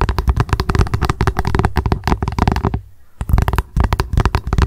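Long acrylic nails rapidly tap and scratch an upside-down translucent hollow plastic lunch box. The result is a dense run of short, dry, hollow clicks with a heavy low thump and no ring, with a brief pause just before the three-second mark before the fast tapping resumes.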